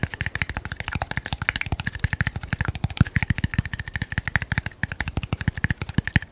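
A small red labeled glass bottle, held upright, is tapped very fast with the fingernails of the other hand. About fifty quick, dry taps sound over six seconds, each a short low knock with a bright glassy tick around 2 kHz that dies away almost at once.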